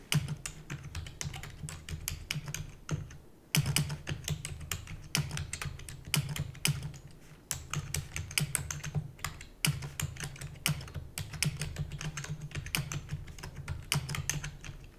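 Rapid typing with long natural nails and fingertips on a full-size black plastic computer keyboard with hollow keys. It makes a dense stream of short, bright clicking taps over a steady low hum, with brief pauses near 3.5 and 9.7 seconds before louder bursts resume.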